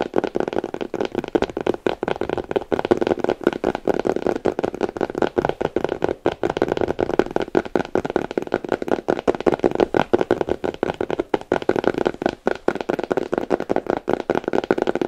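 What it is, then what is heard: Fingernails tapping a leather boot. Long nails on both hands tap and scratch the stiff, glossy leather toe cap and upper of a black polished leather boot, which is held upright, hollow and empty. The sound is a dense, steady stream of quick, dry clicks and scrapes with very short decay, a warm midrange body around 370 Hz and a faint ringing band near 1.5 kHz.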